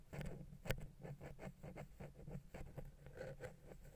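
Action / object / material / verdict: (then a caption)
tap / metal microphone capsule touched with a wooden pick / metal / none. A wooden ear pick taps and scratches the side of a silver metal XY stereo microphone capsule mounted on a Zoom H6 recorder. The result is a quiet, close series of soft, dull, low-heavy taps and brief scratchy rubs that die away almost instantly, with one sharper tap standing out early on.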